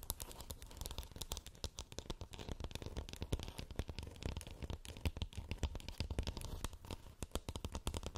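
Long nails scratch rapidly across the textured shell of a glowing, hollow plastic moon lamp. A dense, continuous stream of dry, crackly clicks and scrapes, with a hollow low thump beneath bright, sharp edges. Each contact dies away almost instantly.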